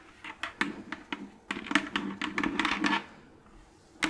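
Long claw nails tap the bottom and sides of an empty, orange, hollow plastic jack-o'-lantern candy bucket. Sharp, bright clicks with a short hollow body come in an irregular pattern: scattered single taps, then a dense, quicker run in the middle. A quiet pause follows, and one final tap closes the clip.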